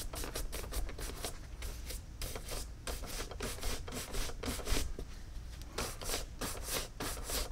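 A hand-held, hollow and empty tan caiman crocodile leather cowboy boot is scrubbed with a wooden-backed horsehair brush in rapid strokes. The result is a steady run of bright, bristly swishes over a low, dull rumble. The strokes come in quick bursts with brief pauses.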